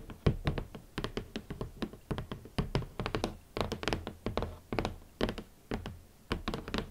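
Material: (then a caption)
Cardboard. Long nails and fingertips tap the hollow lid of a large, rigid red cardboard shoe box. The result is a quick, irregular run of short, dull, hollow thunks and knocks, mostly low in tone with a faint bright click from the nails. Each tap dies away almost at once.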